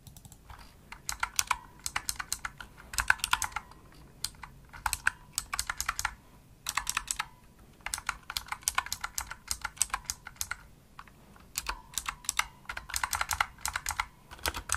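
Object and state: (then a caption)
Plastic mechanical keyboard. A pink full-size plastic mechanical gaming keyboard (Razer Huntsman) with hollow-shelled keys and RGB backlight is typed on quickly by fingertips with medium nails. Fast, clicky, bright keystrokes come in bursts separated by short pauses. Each click is sharp and dies away almost instantly, with little low end.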